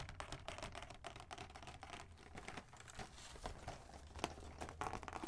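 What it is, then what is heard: Cardboard box tapped and scratched. A large, flat, hollow cardboard advent calendar box, printed with Minnie Mouse on the front, is held upright in both hands and turned to the back while fingertips and nails tap and scratch across its flat surface. Quick, dry, light taps mix with scratchy rustling over a faint low background rumble, each tap dying away almost instantly.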